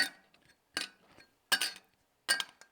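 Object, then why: Polymer composite golf driver crown piece. A loose piece of Titleist's PMP (proprietary matrix polymer) driver crown material, about 12 grams and a third the weight of titanium, is dropped on a counter four times, each landing followed by a quieter rebound tick. Each strike gives a short, bright, glassy clink centered near 1.6 kHz that dies away almost instantly. Though the piece looks and feels like plastic, it sounds metallic like a titanium driver, a sound engineered through seven layers bonded without adhesive by a heat and cooling process.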